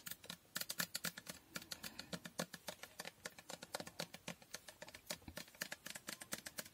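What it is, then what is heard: Glass fragrance bottle. Long painted nails tap and scratch a medium glass Toko Aroma bottle with a pink printed label and a dark cap. About 45 quick, bright clicking taps come at an irregular pace, each with a short, dry ring, over a soft scratchy rustle.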